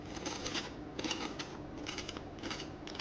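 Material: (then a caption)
Potato. Duck fat roasted potatoes, fresh out of the oven after 45 minutes at 200–220 °C, are handled and give off bursts of crisp, dry crackling and rustling over a steady hiss. The potatoes are nice and crispy and golden.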